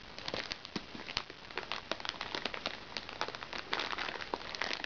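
Long red-painted fingernail tips tap and scratch a small, flat, hollow makeup bag made of recycled plastic sachet film as it lies on a lap. The result is a rapid run of dry, bright crinkles and sharp little clicks, with very short decays and almost no low end.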